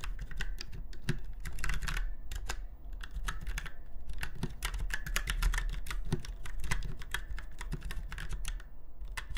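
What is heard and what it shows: Fingertips of both hands type steadily on a retro typewriter-style mechanical keyboard with round white keycaps set in chrome-look rings on a silver frame. A continuous stream of short, crisp clacks with bright, snappy tops and soft low thuds dies away almost instantly over a constant low rumble.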